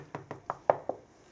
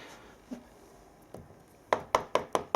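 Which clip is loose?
The second.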